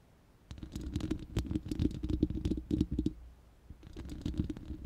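Long nails scratch and tap the bare, hollow round steel mesh grille of an uncovered studio microphone. After a half-second of near silence, quick irregular scratching and tapping crackles in over a low, boomy hum resonating around 300 Hz, pauses briefly just after three seconds, then resumes more softly.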